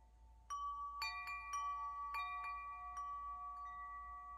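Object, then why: Metal tube wind chime. A hollow metal tube wind chime is held aloft by its string and gently shaken, so the tubes and the central striker collide. It gives a series of clear, bell-like strikes that layer into long, overlapping, high ringing tones. The chime sustains steadily with little low end.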